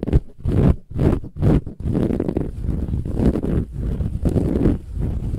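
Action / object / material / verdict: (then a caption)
scrape / filled cushion with textured woven fabric cover / woven fabric / none. Long nails on both hands scratch a large, soft, filled cushion with a silver-gold, textured, metallic woven fabric cover. At first the sound comes in separate rough, rustling bursts, then it turns into a steady, dense scratching. The sound is mostly low and muffled, with faint bright hiss on top.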